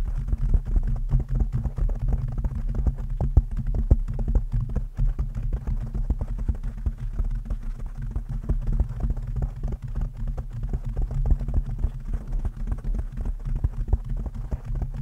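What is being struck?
Foam microphone windscreen.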